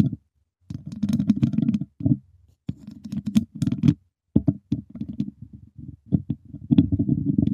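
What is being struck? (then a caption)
Wire mesh microphone grille tapped with wooden chopsticks. Two wooden chopsticks tap and scratch the hollow wire mesh grille of a silver microphone. The result is dense bursts of dull, boomy tapping and scraping centered in the low mids, with brief silent gaps between the bursts.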